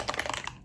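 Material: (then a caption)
Plastic. A plastic bottle of liquid sunscreen is shaken, giving a quick burst of bright, clicky sloshing for about half a second before it fades out. The sound shows the contents are a thin, runny liquid rather than a cream.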